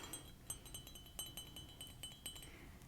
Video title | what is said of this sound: ASMR ☕ Mug Collection + My Favorite Tea (Soft Spoken, Ceramic Tapping) | has a really nice high-pitched sound to it